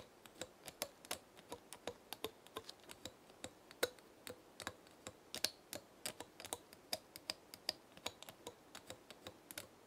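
A long fingernail flicks and scratches the woody scales of a small, dark brown, dry pinecone held between the fingers. It makes around forty quick, dry, bright clicks spread over ten seconds. Each click dies away almost at once, with very little low end.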